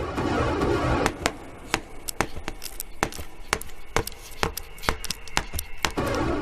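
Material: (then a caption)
Wood. An aye-aye in a Madagascar forest taps tree branch wood with its elongated bony middle finger, producing a run of quick, short, dry taps at an uneven rhythm. The taps locate a hollow cavity in the wood, which gives back a characteristic echo, and the aye-aye listens for a wood-boring grub before gnawing into the spot it found.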